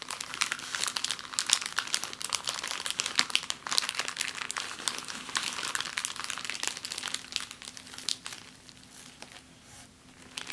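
An empty clear plastic bag is crumpled and smoothed on a table, then lifted and crinkled by hand, making dense, bright, crackling crinkles with many quick overlapping snaps. The crinkling thins out and grows quieter toward the end, with a faint steady low hum underneath throughout.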